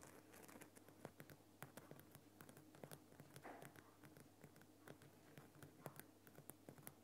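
Fingertips and nails tap and scratch across the rough surface of a large, lit orange Himalayan rock salt lamp, a solid irregular crystal block with a bulb glowing inside. Quiet, sharp clicks and scrapes patter in quick, irregular succession over a faint low hum.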